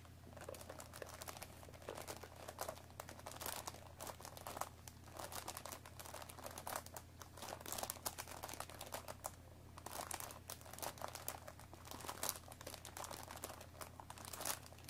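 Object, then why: Cardboard tea box wrapped in plastic film. Long nails scratch the cellophane-wrapped top and front of a hollow cardboard tea box resting on a wooden table. Dense, bright crinkling and scratching come in uneven bursts over a steady low hum. There is no speech.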